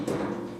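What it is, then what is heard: Rattling loose door panel. A single knock on the custom fabricated door panel of a Polaris RZR Pro XP UTV gives a hollow, mid-pitched thud with a short rattling ring that fades over about half a second. The rattle comes from the door panel being loose before strips of foam were added to it.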